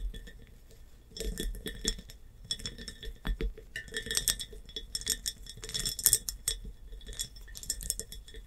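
Long painted nails tap and click across a large, clear, empty glass hobnail jar standing upright, with a bumpy surface and a metal clamp lid. Quick bursts of bright, high clinks and rattly taps come in clusters, separated by short quiet gaps. Each tap dies away almost at once, with a faint low thud beneath.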